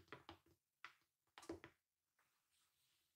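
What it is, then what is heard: Plastic toy gauntlet. Long nude-painted acrylic nails tap on a large, hollow, bronze-painted plastic Infinity Gauntlet toy with light-up gems, lying on white fur. The taps come in quick, irregular clusters of short, dry, hollow clicks that die away almost at once. Faint quiet rustling follows at the end.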